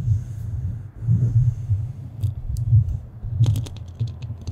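The metal grille of a black studio microphone is scratched with the nails of both hands. A dense, low, muffled rumbling scrape swells and fades in uneven waves, with faint bright ticks and clicks scattered over the second half.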